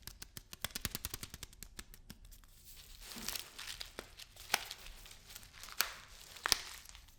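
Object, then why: Lentils in a plastic package. A package of lentils is tapped and handled. A quick run of dry, light taps in the first two seconds gives way to bright plastic crinkling as the package is handled, broken by a few sharper, louder taps near the end.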